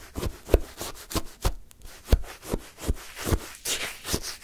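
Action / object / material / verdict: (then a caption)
scrape / frozen sherbet in a paper cup, wooden stick / ice / none. A wooden stick stabs and scrapes into a paper cup full of pale yellow-green shaved-ice sherbet, lifting an icy scoop. Repeated short, crunchy stabs land at an uneven pace, each a dull, low-heavy crunch with a brief bright, gritty scrape that dies away almost instantly.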